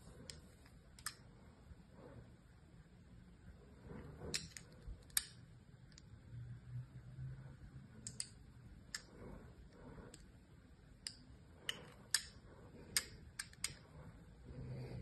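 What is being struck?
Soap bar and scissors.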